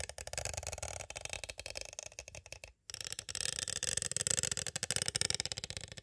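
Two thin green-handled tools rapidly tap and trace a small, hollow, clear hard plastic cassette tape case. The result is a dense stream of bright, crisp plastic clicks and scratchy scraping with a brief pause near the middle.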